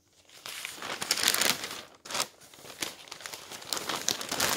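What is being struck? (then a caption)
Newsprint newspaper. Fingertips flatten and turn the pages of a newsprint newspaper on a table, then gather and crumple the sheets. Bright, dense rustling and crinkling fills the clip, pausing briefly near the middle before the crackly crumpling resumes.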